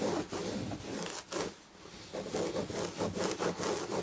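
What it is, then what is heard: Fingernails scratching an upholstered chair back. Long red fingernails scratch the chenille damask upholstery on a fabric-covered chair back, using single-finger strokes. Rhythmic, raspy rubbing strokes carry a bright hiss over a midrange body, with a brief quiet lull near the middle before the scratching resumes in quick repeated passes.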